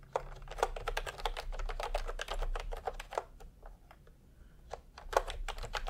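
A full-size pastel typewriter-style keyboard with round plastic keycaps in a hollow plastic case is typed on continuously with the fingertips of both hands. It produces a quick, uneven stream of short, dry plastic clacks with a mid-pitched, hollow tone over a low steady hum. The typing thins out briefly in the middle, then picks back up.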